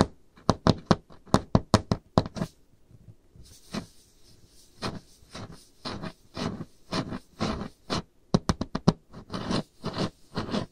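Long painted nails rapidly tap and knock on a solid, varnished wooden tabletop with visible grain, producing a quick series of about 23 dry, low, woody knocks that stop almost instantly. Partway through, a faint, bright hiss rises behind the taps and lingers until the end.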